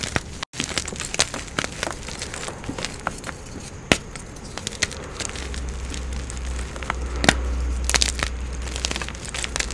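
A palm-sized solid block of blue and white pressed gym chalk (magnesium carbonate) is crushed and squeezed in bare hands with long blue-painted nails over a marble surface, with a second chalk block sitting untouched nearby. Dense crackling and crunching fill the clip, broken by sharp, bright snaps that die away almost instantly, over a steady low rumble. The block crumbles into powder and chunks.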